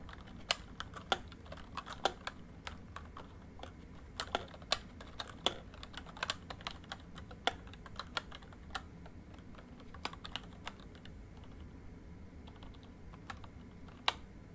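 Fingertips type on a full-size plastic MSI backlit membrane keyboard, producing irregular, sharp key taps over a steady low background hiss. The taps are short, bright clicks with a snappy edge near 2.9 kHz that die away almost instantly.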